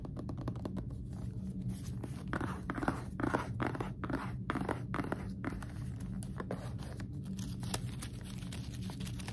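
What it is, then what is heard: Paper-wrapped cardboard gift box. A small, hollow cardboard gift box wrapped in white polka-dot paper with a green bow is held up and tapped and scratched with fingertips and nails. Quiet, rapid taps and dry, crinkly scratching rustle the paper over a soft, low-heavy hollow body, and each touch dies away almost at once.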